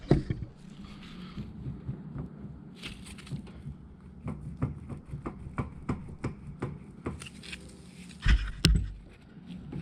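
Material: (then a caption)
Steel. A worn, busted steel front CV axle taken off an LMM Duramax truck is shaken by hand to reproduce the clunking it made over every bump. It gives a series of dull, low, rattling clicks and knocks, ending with two louder clunks near the end. The axle is faulty and is being replaced with a new one.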